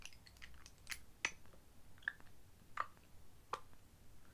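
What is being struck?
Small glass dropper bottle.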